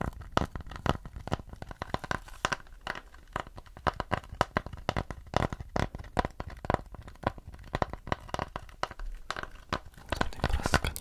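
Fingernails and fingertips scratch and tap the flat back of a round, mid-brown wooden plate held in both hands. Dense, dry clicks and scratchy taps come in quick irregular bursts, each dying away almost instantly. The sound is mostly low-weighted knocking with a light scraping texture, growing busier near the end.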